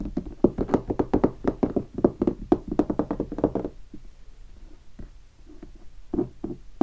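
Fingertips and short nails tap a large, hollow guitar hard case standing upright, covered in black leatherette (tolex) and vinyl stickers. A quick, fast run of short, dry, hollow knocks with a mid-low body lasts about three and a half seconds. It gives way to a few sparse, softer taps before one last sharp hit at the end.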